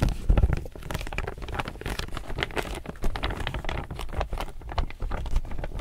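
Fingertips and nails grip and crinkle the glossy surface of a medium chevron-print laminated polypropylene reusable tote bag, held upright, hollow and apparently empty. A steady stream of quick, dry crackles and rustles runs throughout, over a heavy low-end rumble from handling. Occasional slightly louder crunches stand out from the busy texture.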